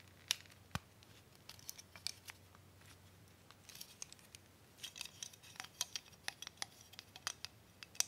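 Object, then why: Wooden toy hub spool with wooden dowel sticks. Fingertips push, twist and rub several green-painted wooden dowel sticks in the holes of a small solid wooden Tinker Toy hub spool held in both hands. The result is a quiet run of sharp, dry wood-on-wood clicks and scratchy friction, bright and high with almost no low end, each tick dying away instantly.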